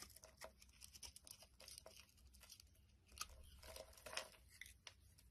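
A metal blade scrapes chunks off a solid pink bar of soap held in the hand. The result is a quiet run of dry, crisp scrapes and crunchy crackles, mostly bright and high, with short, quickly fading bursts that swell a little louder toward the end.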